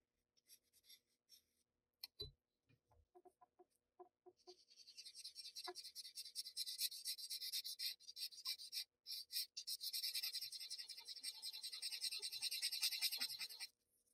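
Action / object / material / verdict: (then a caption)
scrape / paper blending stump on graphite-shaded Bristol paper / paper / none. A paper blending stump held in the fingers is rubbed back and forth over dense graphite shading on a flat sheet of Bristol paper. A few soft scratches and dull taps come first, then a steady run of bright, hissy rubbing strokes that pauses briefly midway and stops abruptly near the end.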